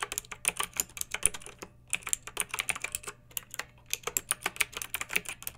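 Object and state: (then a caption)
Plastic mechanical keyboard. A pink backlit mechanical keyboard with round typewriter-style plastic keycaps, resting on a fluffy rug, is typed on with the long nails and fingertips of both hands. Quick runs of sharp, bright plastic clicks and clacks come in bursts with brief pauses between them, and each keystroke stops short with almost no ring.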